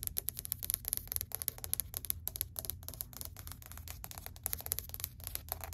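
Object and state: Laminate plank tapped with fingernails.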